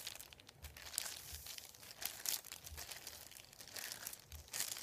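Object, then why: Thin printed paper sheet. Fingertips sweep, rub and crinkle a thin, flat sheet of printed white paper lying on a wooden table. The result is a quiet, steady run of bright, dry crinkling and rustling, with several brief louder swells of crackle and almost no low end.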